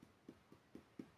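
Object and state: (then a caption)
Abdominal spot, hollow but less tympanic. Five soft, evenly spaced percussion taps on another area of the human abdomen, away from the stomach, each a short, hollow thud centred around 270 Hz that dies away almost at once. The note still sounds hollow and tympanic, but less tympanic than over the stomach, which is a normal finding.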